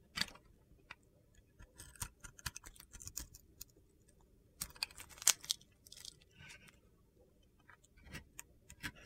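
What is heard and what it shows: A utility knife blade carves chunky flakes off a hand-sized solid soap bar with a yellow and purple glitter coating and a white core. Quiet, bright, crisp crunches and scraping clicks come in scattered bursts, each dying away almost instantly with little low end.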